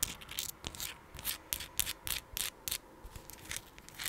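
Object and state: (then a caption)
Rose quartz crystal. Long pink acrylic nails scratch and rub across the rough surface of a palm-sized, solid, raw translucent pink rose quartz chunk. The result is a rapid, irregular series of short, dry, bright scratching bursts with almost no ring, separated by quiet gaps.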